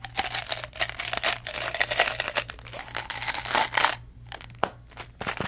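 A small hollow blue plastic Mentos gum bottle has its flip lid opened and closed while fingertips handle it, tap it and crinkle its label. Quick, bright crinkling and dense clicky taps fill the clip, with a faint low hum running underneath.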